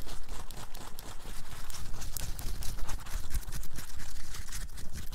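Long acrylic nails on both hands scratch fast across a large rubbery printed bear graphic and the soft fabric of a black cotton t-shirt worn on the chest. The result is a steady, dense rasp of quick, bright scratches over a low, muffled rumble, with no hollow ring.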